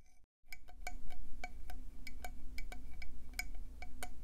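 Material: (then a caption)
Shell. Long painted nails tap fast on the ridged surface of a hollow, hand-sized, cream and brown speckled conch shell held in both hands. The taps are quick, bright clicks with a glassy, chime-like ring, over a steady low hum. It opens with a brief quiet gap before the tapping starts.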